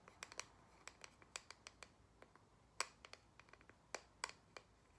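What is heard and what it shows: A single thin, square, cork-backed photo coaster is held in the hands and tapped and scratched with long nails on its cork side. It makes an irregular series of short, sharp clicks and light scratches that are bright and crisp, with almost no low end, and each click dies away almost at once over a faint, quiet background.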